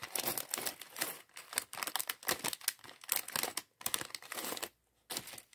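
A small clear plastic bag filled with LEGO plastic bricks from the LEGO Mindstorms mini bot set 40413 is held in both hands while fingertips crinkle and shake it. Dense, bright crinkling and rattling bursts follow one another rapidly, with almost no low end. A brief silence near the end comes before a final burst of crinkling.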